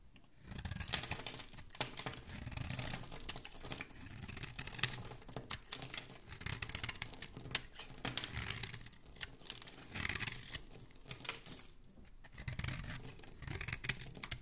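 A solid rectangular pink bar of soap with embossed lettering is held in one hand and scraped with a small black blade, shaving off white flakes. The result is a steady run of bright, crisp scratching and crinkly shaving sounds. Short louder scrapes come and go over a soft low rumble.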